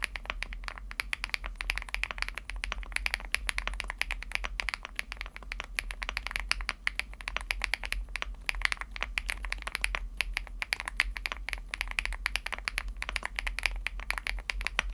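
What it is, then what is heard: Aluminum mechanical keyboard being typed on. Fingertips type steadily on a Chilkey ND75, a 75% mechanical keyboard with a teal aluminum case and white and teal plastic keycaps. The keystrokes come as a fast, continuous stream of short, crisp clacks with a bright, clicky top end that die away almost instantly, over a faint, steady low hum.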